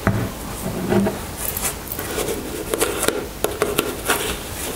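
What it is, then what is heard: Plastic cosmetic tube. Long nails tap and scratch the surface of a white soft plastic squeeze tube of skin cream held in the hands. Short, hollow plastic clicks with a low-mid tone stand out over a soft, steady scratching rustle, with brighter, sharper taps toward the end.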